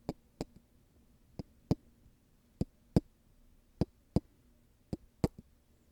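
Golf balls are tapped and handled, giving short, dry ticks and knocks with almost no ring. The taps come in loose, uneven pairs spread across the clip, some with a faint softer tap after them. Each one is a sharp click with a low thud beneath it, over a quiet low hum.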